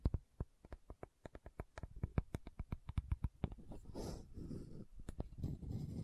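Long nails tap rapidly on the body of a small pink plastic sunscreen bottle with a gold band, held sideways, making a quick run of short, dull, low-pitched clicks. The tapping then gives way to a brushy scratching of the nails across the plastic, with a few more taps mixed in near the end.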